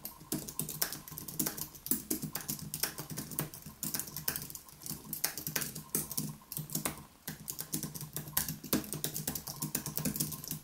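Both hands type rapidly with their fingertips on a white Apple Magic Keyboard, an aluminium keyboard with plastic keys, resting on a wooden desk. A steady stream of quick, light, bright clicks and taps runs throughout, each dying away almost at once, with a faint low thud under the keystrokes.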